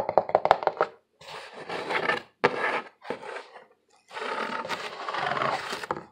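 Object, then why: Corrugated cardboard box. A hollow corrugated cardboard box is held in both hands while fingernails tap and scratch its ribbed surface, giving a quick run of sharp, dry taps followed by bursts of rough, papery scratching. A sudden thunk marks the box being stood on its edge, and the scratching then resumes in a long, steady rasp.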